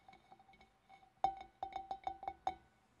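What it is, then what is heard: Glass fish bowl. Fingernails tap on a glass fish bowl, making light clinking taps that ring at a clear tone near 780 Hz. The first taps are faint, then about ten louder, bright clinks follow quickly, each one dying away almost at once.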